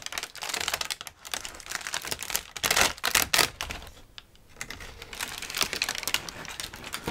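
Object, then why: Thin brown kraft packing paper sheet. A large crumpled sheet of thin brown kraft packing paper is held in front of the face and crinkled and shaken with both hands. It makes dense, bright, crackly rustling with sharp snaps and little low end. The sound briefly quiets around the middle before the crinkling resumes.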